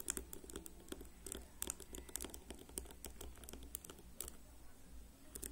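Fingernails rapidly flick and scratch the rows of white-tipped plastic pins on a whole black plastic hairbrush resting on a table. The result is a quick, uneven run of sharp, bright clicks and ticks, with brief scratchy patter between them, over a steady low hum.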